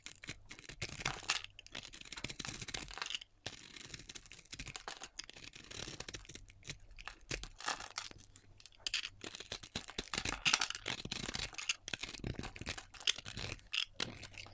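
A hand-sized solid bar of soap with a black glitter coating and a striped orange and yellow interior is held in the fingers and shaved with a metal utility knife blade. Dense, bright scraping and crisp cutting rasps come in quick bursts with little low end, as the blade cuts crumbly flakes from the bar.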